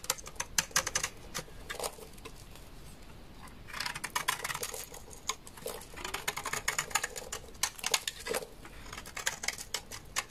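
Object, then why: Laundry soap bar scraped with a blade. A large solid beige dry laundry soap bar is scraped along its edge with a utility knife blade, shedding powdery shavings. Many quick, dry, bright scraping clicks and crackles come in clustered bursts with short pauses between them. The sound is crisp and light with very little low end.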